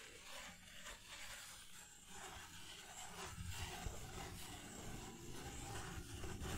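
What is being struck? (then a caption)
Disposable paper plate. Fingertips rub and scratch a white disposable paper plate held by its rim. The result is a soft, continuous, irregular scraping with a low rumbling body, a bright papery hiss, and faint repeated strokes that grow slightly louder toward the end.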